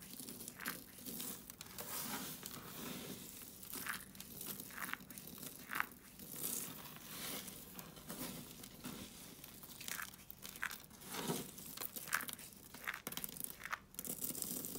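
Fingers pinch and rake pink dry soap flakes spread on a foil sheet, then both hands scoop and crush the flakes together. Dense, bright crunching and crinkling crackles come in quick bursts with a faint low rustle underneath, each crackle dying away almost instantly.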